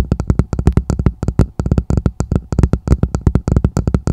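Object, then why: Plastic martini glass. A hollow, empty red plastic martini glass sits upside down over the microphone while long nails and fingertips tap and scratch its bowl. The result is a fast run of short, dull, boomy taps that are mostly low and die away almost instantly, with faint brighter clicks on top. The taps come in quick irregular clusters with a few brief pauses.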